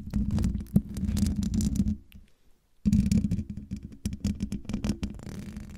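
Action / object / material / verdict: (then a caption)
scrape / metal mesh microphone grille / metal / none. Long dark-painted fingernails of both hands scratch the rounded, hollow metal mesh grille of a silver USB condenser microphone. The result is a dense, rumbling scratching with a steady low tone, broken by a brief near-silent pause before the scratching resumes, then gradually thins out.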